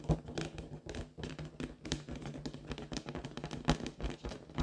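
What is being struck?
Inflated latex rubber balloon.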